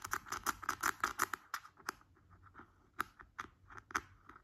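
Fingertips and nails tap and scratch on the glossy green plastic screw lid of a large, round, hollow skincare cream jar sitting on a bed sheet. A rapid, uneven run of short, dry, hollow clicks centred around 1.3 kHz with bright scratchy edges is heard. The taps thin out into sparser, separated ticks in the second half.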